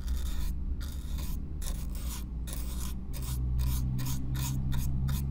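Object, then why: Corrugated cardboard box. A stiff black-bristle brush is drawn in repeated back-and-forth strokes across the surface of a hollow brown corrugated cardboard box, heard close up. Each stroke gives a bright, raspy scratching burst over a steady low rumble. The strokes come quickly and unevenly, blending into a continuous scratchy texture.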